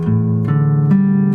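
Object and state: Nothing is struck.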